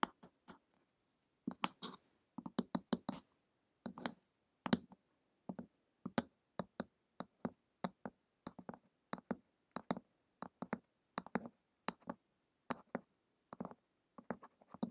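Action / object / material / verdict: tap / hardcover book with glossy card cover / cardboard / none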